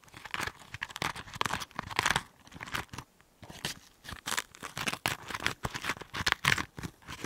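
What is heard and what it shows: A small hollow green chili pepper, cut open and held in one hand close to the microphone, has its inside flesh scraped with a cotton swab on a stick by the other hand. The result is a series of crisp, crackling scratches and crunchy rasps, bright and mostly upper-midrange, coming in quick uneven bursts with a brief quiet gap around the three-second mark.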